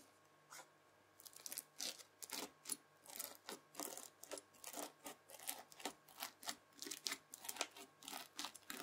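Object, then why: Floam slime with foam beads, worked with a plastic fork. A white plastic fork scratches and presses into a rectangular pad of red bead-filled floam slime. After a brief quiet start, it gives a steady series of soft, bright crunching and crackling bursts. A faint steady hum sits underneath.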